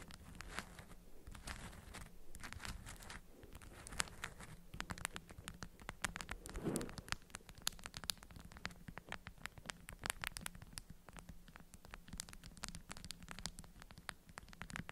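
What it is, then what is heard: Beeswax-coated cotton food wrap. Long acrylic nails scratch and tap a stiff, orange-print beeswax-coated cotton food wrap bundle held between both hands. Quiet, dense clicks and scratchy rustling come with light crinkling of the waxed fabric over a faint low steady hum.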